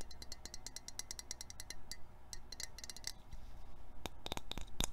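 Short painted fingernails rapidly scratch and tap a small silver metal perfume spray can with its cap removed, making a raspy scratching sound. Quick, bright clicks sit over a steady low hum, and a few sharper taps land near the end.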